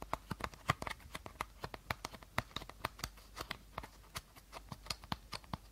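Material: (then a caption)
Plastic. An empty, hollow clear plastic bottle with a teal cap is held sideways while fingertips and short nails tap and rub its body. About 31 quick, dry, hollow taps come in an uneven rhythm, each dying away almost at once, with faint rubbing between them.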